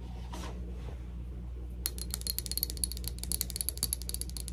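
A small, round, clear glass Cloud perfume bottle with a metal neck and a plastic cloud-shaped cap, partly filled, is held up and tapped with long acrylic nails. After a quiet stretch of steady low hum, a rapid, uneven run of crisp clicking taps begins at about 1.8 seconds. The taps carry short, bright glassy pings and continue to the end over the constant low hum.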